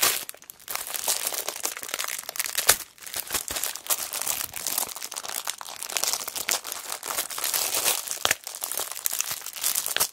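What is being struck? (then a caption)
Cellophane wrapper on a paper notebook. A kraft paper notebook wrapped in clear cellophane is tilted in the hands while long black nails squeeze and crinkle the plastic wrapper. The result is a steady stream of bright, crisp crinkling and crackling for about ten seconds, with a few sharper snaps along the way and almost no low end.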